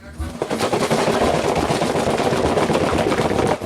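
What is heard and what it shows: A small 440-gram cardboard box, about 9 by 7.5 by 2 inches, printed blue, white, red, green and brown and holding frozen Highliner fish portions in tempura batter, is shaken. The hard frozen pieces make a dense, continuous rattling and clattering against the inside of the box for about three and a half seconds.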